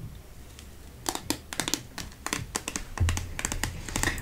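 A sealed, flat round olive metal tin is turned in the hands and tapped with long nails on its lid and side. The result is a quick, irregular run of sharp, bright clicking taps that die away almost instantly over a steady low rumble.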